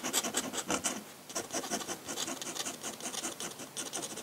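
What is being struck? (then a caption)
Paper sheet under a metal pen nib. A metal dip-pen nib scratches across a large flat sheet of white drawing paper in quick hatching strokes. The result is a rapid series of short, dry, bright scratches with a raspy high hiss and almost no low end.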